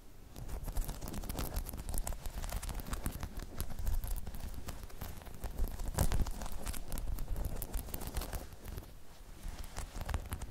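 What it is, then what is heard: Rubber balance pod scratched and tapped. Long chrome nails scratch and tap across a hollow, dome-shaped spiky rubber balance pod, producing a dense, continuous stream of quick, dry clicks and scrapes with a deep, muffled low body. The level stays fairly steady throughout, with a few louder taps standing out and no ringing after each hit.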